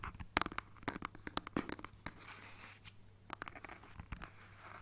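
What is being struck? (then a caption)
Plastic handheld game console. Fingertips and nails tap and scratch the plastic back of a black plastic Nintendo Switch console held in both hands. Quick, dry clicky taps with almost no ring alternate with softer bright scratching rasps. The whole clip is quiet, with a faint steady low hum underneath.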